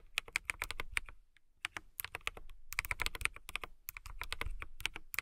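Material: Acrylic.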